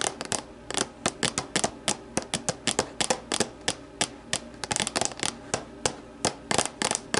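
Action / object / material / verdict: tap / empty plastic deli container / plastic / none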